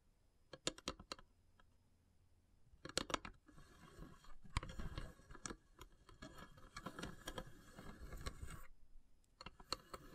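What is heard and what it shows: Long silver nails tap the lid top of a long, hollow carved wooden incense box with a cut-out flower pattern and brass elephant inlays. Quick, dry, quiet clicks come in bursts, then give way to several seconds of steady, bright scratching across the wood. The clip ends with a few more taps, and each sound dies away almost at once.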